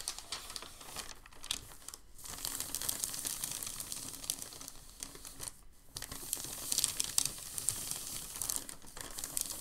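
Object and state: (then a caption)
Crumpled packing paper sheet. A large, thin, creased sheet of crumpled packing paper lies on a table while a palm smooths and rubs it. The result is a steady, bright crinkling with sharp crackles. Two brief quiet gaps break the sound.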